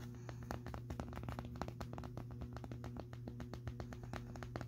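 Fingertips and nails tap and rub the side of a clear plastic cylindrical Bissell vacuum dust canister with a purple base, filled to the full line with grey dust and colorful debris. Rapid, dull, short taps and scratchy rubs sit over a steady low hum, with the sound concentrated in the low range and very little bright content.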